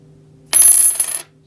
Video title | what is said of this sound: 1950s Coin Prices, Vintage Poured Silver Ingots, Silver Half Dollars, Coins, Jimmy Carter, 1960s Ads | it has a higher pitch ring